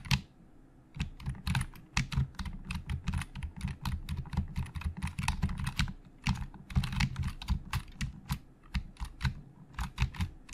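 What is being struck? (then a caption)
Plastic computer keyboard. Fingertips of both hands type on the hollow plastic keys of a black plastic Logitech full-size keyboard resting on a desk. After a brief pause, a fast, steady stream of sharp, bright key clacks follows, each over a low, hollow thump. The keystrokes die away almost instantly.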